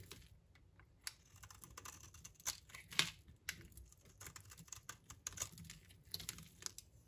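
A blade shaves thin curls off a solid, rounded, light green bar of dry soap from Turkey held in the palm. The result is a quiet, irregular run of crisp, bright scraping and crackling cuts, with a few sharper snaps standing out.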